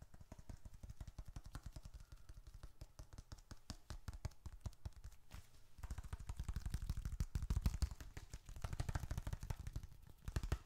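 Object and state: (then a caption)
Leather wallet. Fingertips rapidly tap and pat the flat surface of a small, closed, reddish-brown leather bifold wallet held in one hand, with bills and receipts inside possibly adding a faint crinkle. The quick, uneven pats land as soft, dull, low thuds with almost no ring. They grow fuller and louder in the second half.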